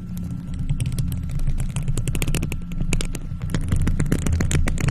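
Long nails in faux leather gloves quickly scratch and tap a round, hollow, silver metal mesh microphone grille. A steady, heavy low rumble sits under a dense stream of sharp, bright clicks and scrapes, with a faint constant tone throughout.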